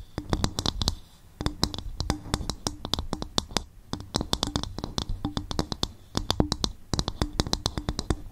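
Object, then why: Upturned coconut shell bowl. Long fingernails tap and scratch quickly on an upturned, hollow, empty polished brown coconut shell bowl placed over the mic. The result is a dense stream of sharp, bright clicks with a hollow woody ring around 300 Hz and a low resonant body, broken by a few brief pauses.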